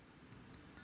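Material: Steel.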